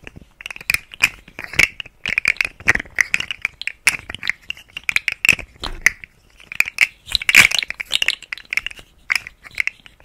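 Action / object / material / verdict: scrape / hollow segmented plastic slug toy / plastic / none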